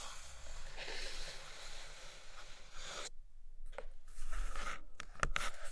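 Long nails scratch across the inner floor of an empty brown kraft cardboard box tray, making a steady, dry, rasping scrape for about three seconds. After a brief silence, the nails tap the floor in several short, crisp knocks with a dull low thump and brief scratches between them.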